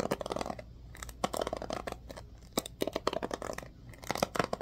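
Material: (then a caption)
Plastic. Fingers scratch and flick the bristles of a black plastic oval hairbrush with a blue accent on the handle. Bursts of crisp, bright scratching and clicking come in quick clusters, separated by brief quieter gaps with a faint low hum underneath.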